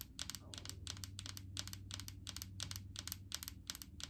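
Long painted fingernails tap on the labeled side of a large clear plastic jar full of coconut oil. The clip is a quick, uneven run of soft, bright plastic clicks, often in pairs, each dying away almost instantly. A steady low hum sits underneath the tapping.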